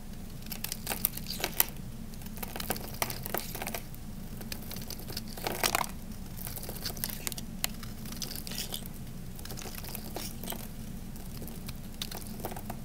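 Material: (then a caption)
Soap. A small knife blade digs into and scrapes the surface of a solid, hand-sized, peach-orange dry Camay bar soap held in the hand, shaving off flakes. Many short, dry, crisp scraping and crumbling crackles with bright edges sit over a steady low hum.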